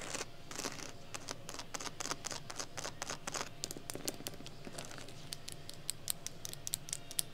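Long nails scratch and tap quickly across the textured surface of a medium, hollow, brown handbag made of glossy embossed crocodile-pattern leather or faux leather with a small metal heart charm. The result is a dense patter of short, bright, clicky taps and scratchy rasps with no ring, over a steady low background rumble.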